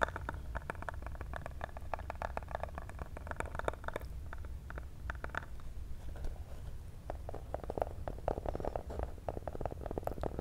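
Fingernails tap rapidly and continuously on a small, hollow black printed cardboard cable box held in the hands close to the mic. The taps are soft, dry clicks with a hollow midrange knock and almost no ring. They sit over a steady low rumble, with quieter stretches between bursts of tapping.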